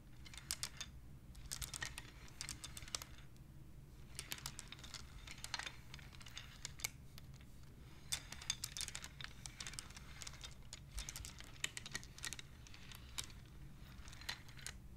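Long-nailed fingers of both hands push colored, painted wooden beads along the rods of a wooden abacus. The result is quick bursts of sharp, dry, bright clicks that stop almost instantly, heard over a steady low hum.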